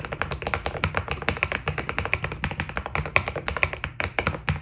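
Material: PBT plastic.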